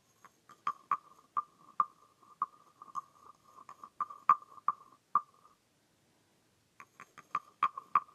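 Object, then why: Carved wooden frog guiro scraped with a wooden stick. A small hollow green carved wooden frog guiro is held in the hand while its ridged back is scraped and rubbed with its wooden stick. It makes a string of short, dry, hollow wooden clicks and croaking rasps centered around 1.2 kHz, each dying away almost instantly. After a pause of over a second, the clicks resume in a quicker burst.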